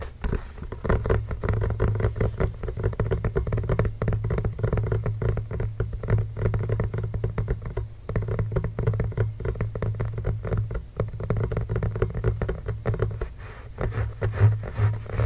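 A full-size blue and grey Spalding Fast Break rubber basketball, hollow and inflated, lies on a blanket while the fingertips of both hands tap rapidly across its pebbled surface. The result is a dense, continuous patter of soft, hollow thumps with a low resonant boom around 110 Hz and very little high-frequency content, each tap dying away quickly.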